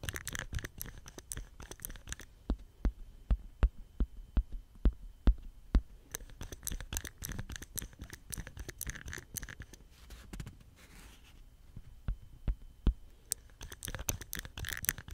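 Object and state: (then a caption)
Plastic soap pump head. Fingertips squeeze, press and scratch the hollow head of a small green plastic soap dispenser pump with a white stem, held up close, making it creak. Dense scratching and rustling alternate with sharp, dry clicks and creaks that come through most clearly as isolated pops early on. A softer, scratchier stretch near the end gives way to busy clicking again.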